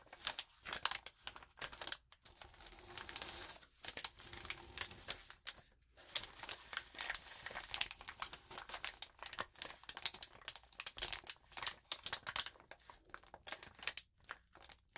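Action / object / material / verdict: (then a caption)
scrape / crumpled notebook paper sheet / paper / none. A crumpled sheet of lined notebook paper lies flat on a wooden table while both hands rub and scratch it with fingertips and long nails. The result is a steady stream of bright, dry crinkling and crackling in quick, irregular bursts, with brief quiet gaps between the louder scratches.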